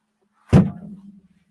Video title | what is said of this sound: Threats to Sebastian Rogers searchers - PI: Disappearance due to domino effect | Knock on a window with your fist sounds like a thud.